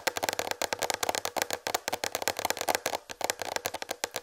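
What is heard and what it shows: Long red fingernails tap rapidly on a large, slightly tilted white plastic tray. The result is about two dozen quick, sharp clicks with a bright edge and a faint hollow tone around 520 Hz. Each tap dies away almost instantly.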